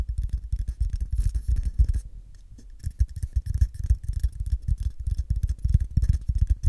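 Fingernails scratch and fingertips tap along the side and open end of a small, hollow, empty brown cardboard tube. The result is a dense stream of quick, dull, low thumps and soft scratching, with a short quieter stretch of light scratching near the two-second mark before the rapid tapping resumes.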